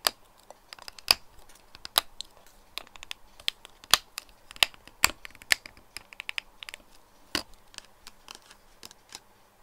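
Fingertips and nails tap along the body of a clear plastic cylindrical toiletry bottle with a black cap, full of pink liquid and lying on its side on a desk. A run of sharp, bright, irregular clicks and ticks sounds with almost no ring or low end, some louder taps standing out over quieter ones.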